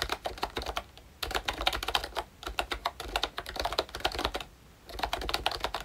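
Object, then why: Plastic membrane keyboard. Fingertips type on a pink plastic ROYCHE Disney Mickey Mouse retro membrane keyboard with round keycaps and a hollow body. The result is quick bursts of short, clacky keystrokes with a hollow, plasticky tone centered around 800 Hz and a bright top end. Brief pauses come near the one-second mark and around four and a half seconds.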